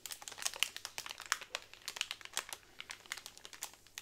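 Long nails tap and rub over a pack of hollow bamboo straws in clear plastic wrap. A quick, uneven series of light, sharp taps mixes with a bright, high crinkle of the plastic. Each tap stops almost instantly, with no ring and almost no low end.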